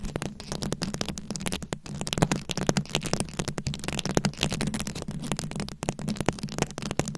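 A round, fist-sized microphone head covered in glued-on plastic rhinestones and beads is scratched and tapped with very long acrylic nails. The result is a dense, continuous run of crackly scratches and rapid sharp clicks, each dying away almost instantly. Under it all sits a boomy, low body with a steady low tone.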